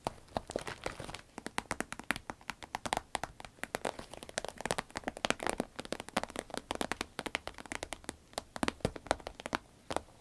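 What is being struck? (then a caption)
Vinyl pencil case. A green vinyl pencil case is tapped and scratched with the fingernails. Rapid, sharp clicking taps with no ring follow one another over a soft, crinkly scratching texture for the whole clip.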